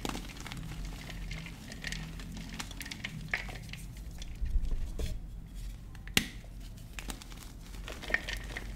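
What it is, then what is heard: Frozen gym chalk block being crumbled. A large, white, solid block of frozen gym chalk (magnesium carbonate), chilled in the freezer, is crumbled and squeezed apart by fingertips with short painted nails over a dark bowl of loose chalk powder. Soft, dry crumbling and crinkly crackles run throughout over a low, muffled rumble, with bright little snaps and one sharper crack about two-thirds of the way through.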